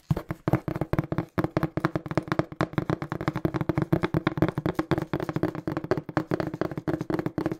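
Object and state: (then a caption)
Cardboard box, hollow. Fingertips tap quickly on the faces of a small, hollow, brown printed cardboard shipping box. The result is a fast, steady stream of dull, hollow taps with a low boxy thump and almost no ring.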